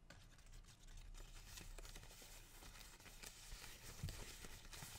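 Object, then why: Fresh pothos houseplant leaf. A single large, fresh green-and-white variegated pothos houseplant leaf, thin and flexible, is held up close to the face and rubbed and crinkled with fingertips and dark-painted nails. The result is a soft, steady crinkling rustle with bright, papery texture over a low, muffled rumble, and a few slightly sharper scratches near the end.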